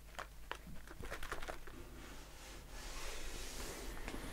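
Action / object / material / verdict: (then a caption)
tap / aluminium aerosol can / aluminium / none. A blue aluminium aerosol shaving foam can, with its bare metal bottom showing, is held in hand and tapped and scratched with short fingernails. Quick, short, dull metallic taps come first, then a soft, bright scratching hiss over a low steady hum.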